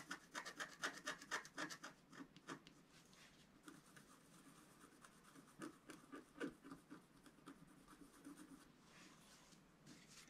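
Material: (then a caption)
Coated paper. A wooden stylus scratches dense strokes into the black coating of a flat, roughly A4 scratch-art sheet lying on a table. Quick, dry, raspy scrapes repeat about four times a second with a bright, papery hiss. Louder bursts come in the first few seconds, then softer, more irregular strokes follow.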